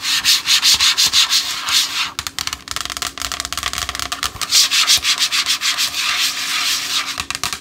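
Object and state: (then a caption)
Cardboard makeup palette, scratched. Long acrylic nails scratch and rub the surface of a flat black, hand-sized, solid Morphe eyeshadow palette with a cardboard case. Quick, bright, raspy strokes repeat at about three per second, with a faint steady hum underneath.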